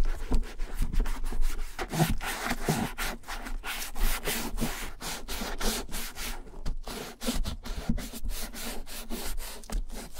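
A gloved hand rubs the tan leather front pockets and side of a German vintage leather satchel bag during a dye and restore job. It makes a steady series of soft, low, dry rubbing strokes with brief breathy swishes.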